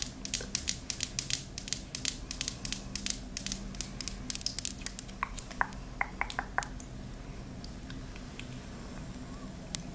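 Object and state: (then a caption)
Ceramic candle tumbler tapped with nails. A white "I Love You a Latte" ceramic candle tumbler, hollow and filled with wax, with the candle lit and the lid off, is held in a hand and tapped with long pink acrylic nails. Quick, bright clicking taps come in dense flurries for about the first seven seconds, some giving a short ceramic ring near 1 kHz. The taps then thin out to a few scattered clicks over a steady low background hum.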